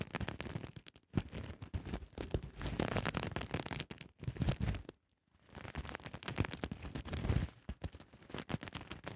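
Long nails scratch and rub back and forth across a small soft fabric pouch covered in pink, white and teal reversible flip sequins. The result is a dense, scratchy rustling in bursts with brief pauses and one clear silent gap near the middle.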